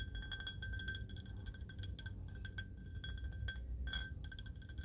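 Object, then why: Cut glass vase. A small, hollow, ribbed cut-glass vase that appears empty is held in both hands and tapped and scratched with fingertips and nails. The result is rapid, bright glassy clinks and ticks with a short high ring, over a steady low rumble. Because it is recorded outdoors under an umbrella, rain may also be audible.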